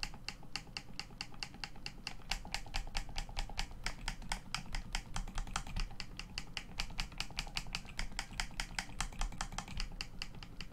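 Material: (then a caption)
Plastic. A hollow black plastic Xbox One controller lies face up while thumbs and fingertips click its face buttons and sticks. About sixty short, dry, bright clicks come in an uneven, fast stream over a steady low rumble, each click dying away almost at once.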